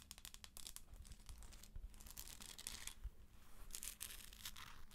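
A hollow plastic galaxy moon lamp is held while long acrylic nails scratch its textured top and then tap it. The result is a run of dry, bright scratching and crinkly rasps with soft clicking taps over a low hum.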